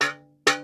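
An early cast iron saucepan, a decent-sized one from around late Victorian times, is knocked twice. Each knock gives a bright clank with a short, dull ring that dies away quickly instead of a clear bell-like tone. The saucepan is cracked, which is common in thin cast iron.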